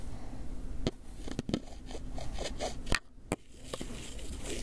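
A small, white, hinged styrofoam clamshell takeout box, hollow, closed and apparently empty, is held in one hand while the fingertips and nails of the other scratch and rub its surface. Soft, crackly scraping runs throughout, punctuated by short, sharp, bright clicks and squeaks as the nails catch on the foam. A dry, close-sounding low rumble sits under it all.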